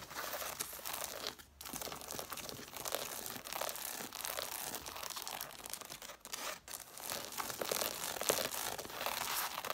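Long nails scratch and tap along the page edges and red cloth covers of an angled stack of solid-paper hardcover books. The result is a dense, continuous rasp of bright, papery scratching mixed with quick, irregular taps. The sound pauses briefly twice before resuming.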